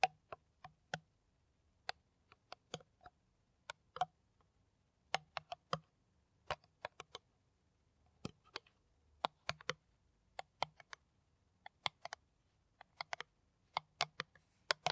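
Long nails tap an empty, hollow, clear plastic PET water bottle with its cap on, making about 35 sharp, dry clicks at an irregular pace. Each tap is quiet and brief with almost no ring, carrying a hollow midrange tone and a bright, crisp edge.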